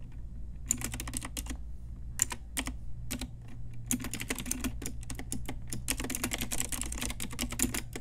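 Long nails and fingertips type on an Ajazz pink retro typewriter-style mechanical keyboard with round plastic keycaps. Rapid, bright, clicky keystrokes come in uneven bursts with short pauses, over a steady low hum.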